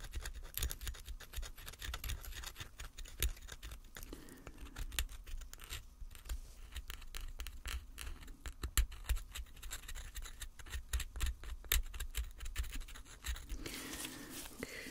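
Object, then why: Painted plaster block. A small solid plaster block, shaped and painted like a gold bar and sitting on a black base, is scraped and dug into with a thin metal pick held in gloved hands. The result is a steady stream of dense, crisp scratching and quick, bright ticks over a low, constant hum, with white plaster dust collecting beside the block.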